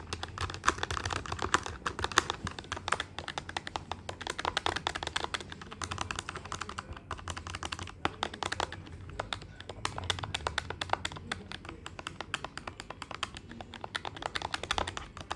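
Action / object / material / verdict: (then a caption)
tap / plastic desktop calculator keys / plastic / none. Fingertips and nails quickly tap the plastic keys of a black plastic desktop calculator with a hollow body. The result is a fast, continuous stream of light, bright clicks and clacks with very short decay, over a faint low hum.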